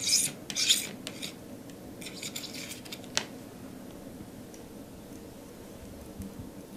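A metal palette knife scrapes and spreads thick teal and pink acrylic paint across a flat canvas board. Bright, raspy scratching strokes come in quick bursts in the first second, followed by lighter rubbing and a sharp tick near the middle. The rest of the clip fades to a quiet, soft smearing.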